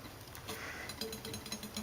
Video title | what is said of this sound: carbidetips | now it's quiet all the way around